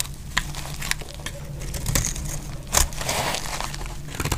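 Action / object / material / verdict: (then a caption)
scrape / soap bar / soap / none. A metal blade cuts and scrapes flakes off a dry, solid green soap bar held in the hand. Dry, crisp crunching and crackling scrapes repeat throughout, with sharper bright snaps standing out over a steady low hum. The blade shaves flakes away in short bursts.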